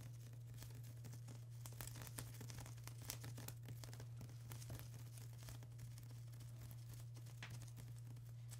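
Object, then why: Plastic bubble wrap sheet. A flat sheet of plastic bubble wrap is tapped and scratched by long acrylic nails, giving quiet, soft crinkling and bright ticking taps. A steady low hum runs underneath the whole time.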